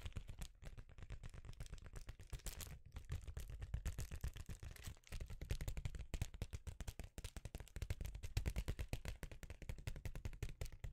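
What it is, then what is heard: Foil bubble insulation sheet. A rectangular sheet of reflective foil bubble insulation, held in one hand, is tapped rapidly with the fingertips of the other. The result is a fast, continuous run of short, dull, low-pitched thumps with a faint crinkly rattle on top. Each tap dies away almost instantly.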